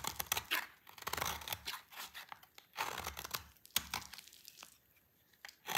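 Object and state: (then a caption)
Dry soap bar being cut. A solid, dry, dark green soap bar held in the hand is cut and shaved with a utility knife blade. The blade makes dry, crisp scraping and crackling sounds in bright, dense bursts. The bursts thin out to near silence before one last scrape at the end.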